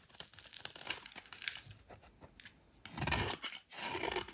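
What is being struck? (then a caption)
Bar of soap cut with a knife blade. The edge of a solid rectangular white soap bar, held in the hand, is carved with a metal utility knife blade into thin curls. Quick, crisp scrapes and crunchy crackles sound bright and dry, becoming louder and more continuous in two longer shaving strokes near the end as the thin curls peel away.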